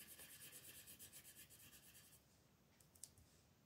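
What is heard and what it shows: A wooden colored pencil, held by long red-nailed fingers, is rubbed and scratched back and forth across a thin printed paper mandala sheet lying flat on a dark table to fill in color. Quick, bright, scratchy strokes repeat steadily for about two seconds, then fade to a faint hiss with a few soft, sharp ticks near the end.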